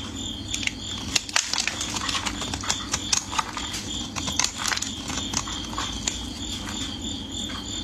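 A solid orange bar of soap, already partly carved and held in gloved fingers, is scraped and shaved by a metal blade. Dry, crumbly scratching and cutting strokes come as many short, bright, crisp bursts over a steady low hum.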